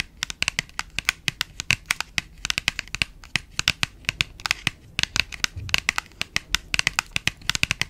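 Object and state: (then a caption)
Small printed cardboard box. Long nails tap and scratch a small cream printed paperboard box held close to the mic. The result is a rapid, uneven run of sharp, dry clicks with almost no ring, bright and crisp with little low end, over a faint scratchy rustle.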